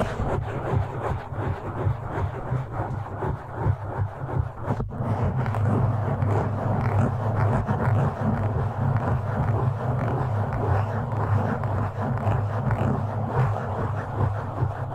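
Both hands scratch the top and sides of a black foam windscreen on a microphone with short nails. The result is a dense, continuous scratchy rustle with a strong low rumble underneath.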